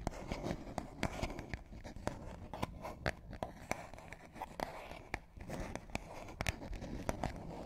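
A small, empty medicine-style cardboard box is held in both hands above the microphones and tapped and scratched with long manicured nails. Sharp, dry taps stand out over a steady papery scratching, with each tap dying away almost at once.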